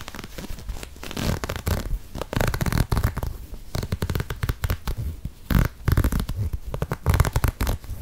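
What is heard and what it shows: An empty, hollow lime green and grey knit textile sneaker is squeezed, then scratched with long nails along its ribbed knit upper. The result is a dense run of dry, rustling scratches and soft crunching bursts with a low, muffled body and short, dead decays.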